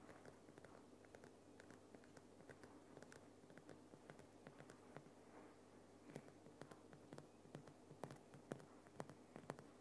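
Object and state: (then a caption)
Rock salt lamp. Fingernails scratch and tap the rough crystalline sides of a large, solid, lit Himalayan rock salt lamp. Quiet, gritty scratching runs throughout over a faint steady low hum, broken by short, dry, bright taps that grow sharper and louder in the second half.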